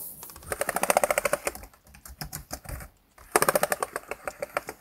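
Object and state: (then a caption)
Plastic laptop keyboard. Fingertips type on and tap the keys of a black plastic laptop keyboard. Rapid, bright clicking comes in two dense bursts separated by a quieter stretch of softer, sparser taps.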